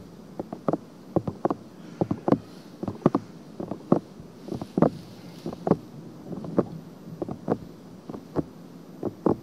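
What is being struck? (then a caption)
Silicone ear of a binaural microphone, scratched by long nails. Long painted nails scratch the surface and rim of a silicone binaural microphone ear. The result is a string of short, dry scratching strokes, irregular and close together. They sit mostly in the low-mid range over a faint steady hiss.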